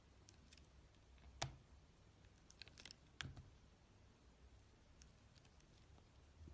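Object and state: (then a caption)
Glycerin soap bar being carved. A steel utility-knife blade carves a rectangular, solid, translucent red glycerin soap bar with opaque pink cubes inside, held in one hand, slicing and scraping off thin layers. Brief, bright scraping strokes crackle up from a quiet, low background, with the two sharpest cuts standing out among scattered softer scrapes.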